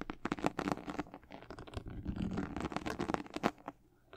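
Long nails scratch the white leather and glossy patent leather upper of a high-top sneaker. The result is a quiet run of dry, rapid scratching and light crinkling with a soft, low-mid body, tapering off near the end.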